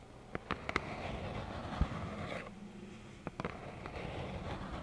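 Long acrylic nails tap and scratch a small, hollow plaid cardboard tissue box, producing several short, hollow taps with a low, boxy body. Between the taps, a soft, dry scratching rustle continues quietly, and each tap dies away almost instantly.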